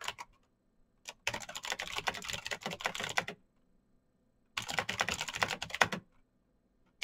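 Fingertips type fast on a black Razer BlackWidow mechanical keyboard with plastic keycaps on clicky green switches. A few stray taps lead into two dense bursts of bright, sharp clicks separated by a short silent pause. Each click is crisp and dies away almost at once.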